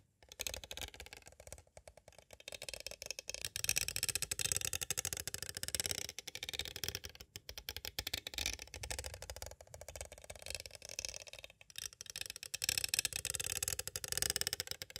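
Two green plastic stick tools tap rapidly on the sides of a small, hollow, clear plastic cassette tape case. The result is dense bursts of light, bright, clicky taps with almost no ring, broken by brief pauses.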